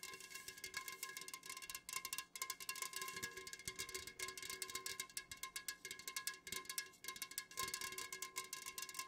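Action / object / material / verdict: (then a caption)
tap / aluminium drink can tapped with fingernails / aluminium / none. Long nails on both hands tap rapidly on the sides of an unopened, full Jumex Guava Nectar aluminum can, first held tilted and then standing upright. The quiet, fast-paced taps are bright, short metallic clicks that die away almost instantly, with steady metallic tones ringing around 1 and 1.7 kHz beneath them.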